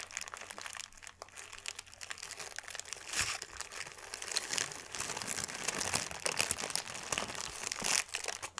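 A thin white paper sheet is crumpled into a ball, then unfolded and rubbed between the fingertips, giving a dense run of bright, sharp crinkles and crackles with almost no low end. The level rises and falls in bursts as the paper is worked, with louder crunches near the three- and eight-second marks.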